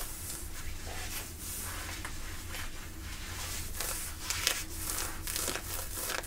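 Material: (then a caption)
Denim. Long nails and fingertips scratch and rub light-blue ripped denim jeans, thick woven cotton fabric worn on the thigh, around the knee rip. Quick bursts of bright, raspy scratching repeat over a steady low rumble, with a slightly louder scrape near the end.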